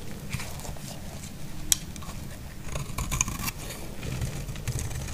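A solid, dry green bar soap is scraped with a utility knife blade, its curls falling onto denim. Soft, uneven scraping and crackling runs throughout over a low rumble, with a few bright, sharp clicks standing out.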